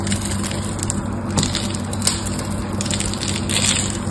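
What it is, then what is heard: Bar soap being cut and scraped. A metal knife tip scores a grid into the surface of a solid, rectangular, palm-sized bar of pink soap held in one hand, then scrapes so small soap cubes crumble off. The sound is a steady, dense crackling scratch with bright, crisp edges and a few sharper crunches over a constant low hum. The blade scratches and cuts rather than taps.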